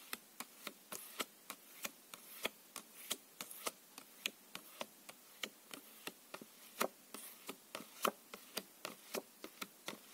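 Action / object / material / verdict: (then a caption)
tap / plastic-coated paper playing cards / coated paper / none. Two thin plastic-coated paper playing cards, one held in each hand, have their edges tapped and rubbed together with the fingertips. The result is a steady run of 34 quick, dry, bright clicks with almost no low end and very short ring. Faint papery rubbing fills the gaps between them.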